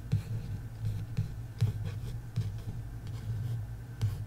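Long acrylic nails and fingertips tap and trace the glossy card cover of a solid paperback novel, The Love Hypothesis, lying flat on a wooden table. About six soft, dull taps with very short decay stand out over a low, steady rubbing texture.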